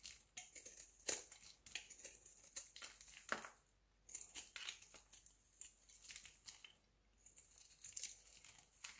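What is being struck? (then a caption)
Solid bar of soap shaved with a blade. A solid rectangular white bar of soap, held in the hand, is shaved with a utility knife blade, sending flakes falling. Quick, quiet, bright scraping strokes crackle and crinkle in close succession, with two short pauses partway through. The sound is almost entirely high-pitched, with sharp, dry transients and no low rumble.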